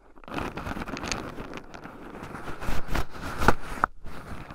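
Two wooden chopsticks stir and poke through a small wooden bowl heaped with shelled raw pine nuts, with two black microphones buried in the pile so the nuts rub against them. The result is a dense, continuous rustling crackle and scratching, mostly low and muffled, broken by a few sharper clicks near the end.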